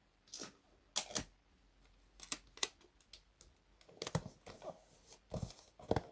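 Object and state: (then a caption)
Gift-wrapped cardboard box tapped, hollow. Fingertips and short nails tap and drum on the top of a hollow, medium cardboard box wrapped in cream and gold printed wrapping paper, standing on a desk mat. The result is a quiet series of soft, dull papery taps with brief crinkly edges, coming in irregular clusters with short pauses between them.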